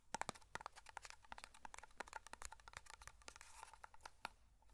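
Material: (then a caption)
Metal. Fingertips tap rapidly on the lid and side of a small black metal hair cream (pomade) tin held close to a microphone. The sound is a quiet, dense stream of short, bright clicks and ticks with a faint metallic ping around 900 Hz that dies away almost at once.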